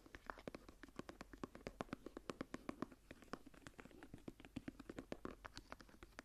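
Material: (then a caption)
Leather. Long dark-painted nails and fingertips scratch and rub the raised geometric star pattern on a large closed journal's dark brown embossed leather cover, held tilted. The result is a quiet, steady stream of dozens of short, dry taps and clicks with almost no ring. A soft scratchy rustle fills the gaps between them.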